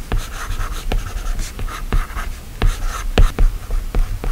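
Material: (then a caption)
Glass. A plastic stylus tip taps and scratches short strokes across the solid glass screen of an iPad. Nine dry, close ticks land at an uneven pace, each with a low thump and almost no ring. Soft, brighter scratchy rustles fill the gaps between them.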